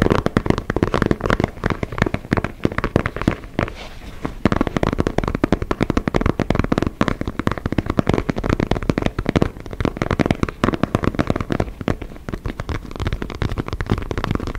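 Fingertips and nails tap and scratch the surface of an inflated synthetic leather soccer ball held close behind the microphone. The result is a dense, continuous stream of quick, dry, crackling taps with a heavy low-end thump and almost no ring. There is a brief softer patch around the four-second mark.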